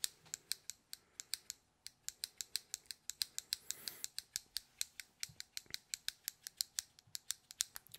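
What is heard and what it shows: Fingertips flick and roll the clicking parts of a small white plastic fidget stress cube with a black dial or joystick, held in the fingers. About 43 sharp, dry, high ratchet-like clicks come in a quick, uneven stream with no ring, and a brief soft hiss rises around the middle.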